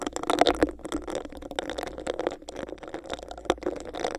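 Long nails scratch and tap on a hollow, empty, clear bumpy textured plastic cup held over the mic. The result is a dense, continuous run of dry, close-up plastic scratching and rattling, with sharper, louder taps near the start and around three and a half seconds.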